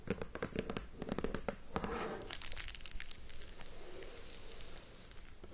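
Long nails scratch and tap the top and sides of a sealed, shrink-wrapped cardboard board game box. Hands grip and rub the plastic wrap, producing crinkling. The clip opens with a quick run of sharp taps, then moves into a steadier, brighter crinkle and scratch that tapers off at the end.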